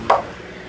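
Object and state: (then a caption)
Facade with thermal insulation cladding. A small metal piece is thrown up against an overhead exterior building surface with thermal insulation cladding applied. It gives a single dull, solid knock with a brief midrange ring that fades quickly. The dull sound indicates that the facade has been insulated, unlike an uninsulated shop wall nearby.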